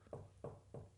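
A desk is knocked three times in quick succession, each a short, dull, low knock with a hollow thump that fades quickly. A steady low hum sits underneath.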